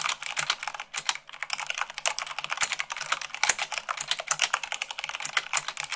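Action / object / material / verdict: tap / mechanical keyboard with plastic keycaps / plastic / none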